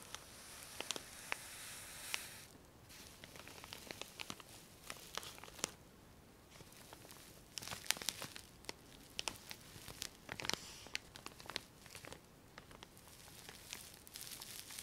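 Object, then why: Soft plastic wrapper of cotton pads. A cylindrical soft plastic wrapper full of cotton pads is held in both hands and squeezed with the fingertips, making a quiet, bright crinkling. Dense, high rustling is broken by many sharp clicks and crackles that stop dead, with a brief lull near the three-second mark.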